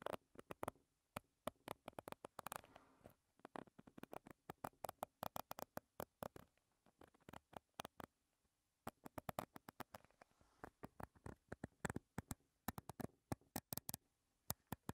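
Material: Soft plastic.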